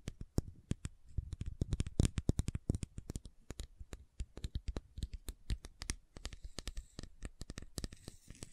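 Long nails tap and scratch quickly along the side and label of a hollow white plastic fish oil supplement bottle. The result is a rapid, uneven stream of short, dry, dull taps with soft scratching between them, mostly low and thuddy with only a faint bright edge.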